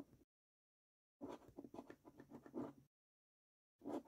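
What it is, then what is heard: Paper scratch card being scraped. A coin edge held in the fingertips scrapes the latex panels of a paper scratch card resting on a wooden table. Quiet, dry scratching comes in short bursts: a brief scrape, a longer run of quick rasping strokes, then another short scrape, separated by silent pauses.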